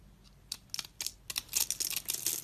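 A utility knife blade scores a grid into a solid, rectangular, hand-sized tan bar of soap held in the hand, then scrapes off small cubes. The result is a run of crisp, dry, bright scratching clicks with almost no low end and no ring. They start spaced apart and quicken into dense, rasping bursts toward the end.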